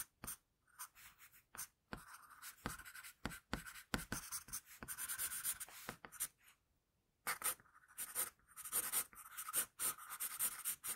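An HB wooden pencil held in the fingers sketches on a flat sheet of drawing paper. Quiet, bright, scratchy graphite strokes rasp across the paper surface in short bursts and longer sweeps, with a brief pause about two-thirds of the way through before the strokes resume.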